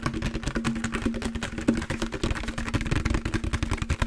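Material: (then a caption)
Plastic. A large, empty, hollow translucent green plastic jug with a green lid is handled, tapped with fingertips, and moved around close to the mic. The result is a quick run of dull, hollow plastic taps and rubbing noises over a steady low hum.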